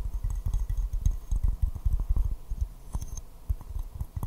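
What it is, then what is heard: Porcelain teacup tapped. A small white floral porcelain teacup, hollow and empty, is held upside down in both hands and tapped with fingertips and nails in a quick, uneven run. Each tap gives a dull, low thump that dies almost at once, with faint bright clicks from the nails on top.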